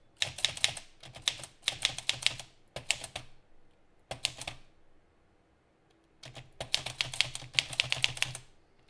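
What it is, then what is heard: Manual typewriter typing. Both hands' fingertips type continuously on an Olivetti Lettera 32 portable typewriter with a pale green metal body, plastic keys and paper loaded, so the typebars strike the platen. Bright, sharp clacks with a light low thump come in rapid bursts, with a pause before the final run. A faint fan hum stays in the background.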